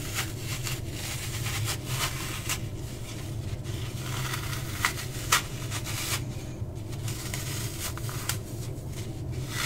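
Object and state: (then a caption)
Dry floral foam being crushed. A small, hand-sized piece of dry, porous green floral foam is held in both hands, crushed and rubbed with the fingertips so that it crumbles. Soft crackling and scraping textures run throughout, with several brief, bright crunchy snaps standing out over a steady low rumble.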